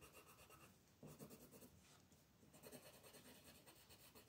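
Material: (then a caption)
Paper. A colored pencil, held close to its tip, makes quick scribbling strokes to shade a thin paper coloring book page lying flat on a wooden table. The pencil gives a soft, continuous scratchy rasp across the paper, with slightly louder bursts of strokes partway through.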